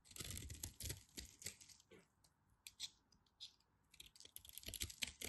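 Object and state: Bar soap being carved.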